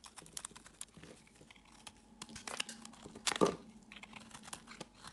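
A palm-sized solid orange bar of soap, held in the hand, is scraped and carved with a metal blade while the shavings pile up on a woven mat. The result is a quiet run of quick, dry, crisp scratches and crunchy ticks with bright edges. The cuts swell into a louder, harsher scrape about two-thirds of the way through.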